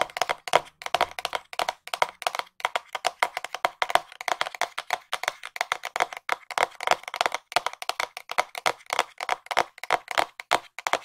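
Long nails tap rapidly on a small, hollow white cardboard box held close to the microphone, producing a steady stream of sharp, dry clicks. Each tap has a hollow, papery knock centered near 970 Hz with bright edges and almost no ring or low end.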